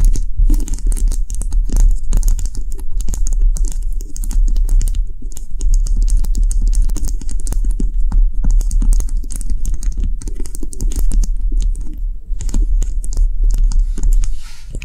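A small solid white bubble cube candle, apparently wax, sits on a table and is tapped fast by the long nails of both hands. A dense, steady stream of rapid clicking taps carries a low thudding body and bright, crisp edges. The tapping barely pauses and eases off slightly at the end.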